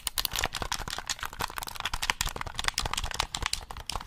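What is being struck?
Plastic game controller.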